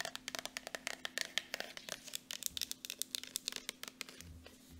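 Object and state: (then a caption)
Plastic squeeze tube. Long nails rapidly tap the flat end and body of a partly full gold Jergens lotion tube made of soft plastic. About 29 quick, bright, clicky taps sound with almost no ring and very little low end. A faint steady hum sits beneath them.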